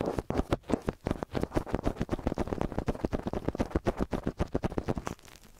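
Long nails and fingertips rapidly scratch and tap the tops of the two silver capsules of a small metal X/Y stereo microphone on a white stand. The result is a dense stream of close, muffled scratching and tapping bursts with a low, thumpy body and little high end, easing off quietly in the last half second.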